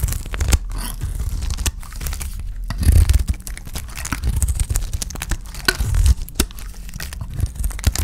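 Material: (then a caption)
Soap. A utility knife blade scrapes and shaves flakes off a palm-sized, rectangular cream-white bar of dry soap held in one hand, the flakes crumbling onto a pile of soap shavings. Dense, dry scraping and crumbly crunching continue without pause, with low, thick energy and short, quickly fading scrapes.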